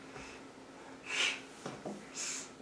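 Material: Nothing is struck.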